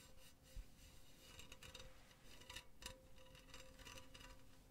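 Fingertips and nails rub and scratch along the mesh of a hollow, empty silver metal mesh pen holder. The result is a quiet, continuous rasping texture with bright, gritty bursts over a steady low hum.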